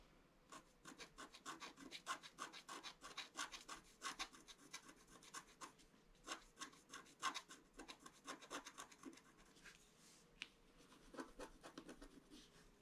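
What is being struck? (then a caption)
Scratch-art paper sheet scratched with a wooden stick. A pointed wooden stick scratches across a flat scratch-art page, a black coating over colored paper. Quick, dry, rasping strokes come in a steady run of bright, crisp scrapes, with a brief lighter stretch before the scratching picks up again.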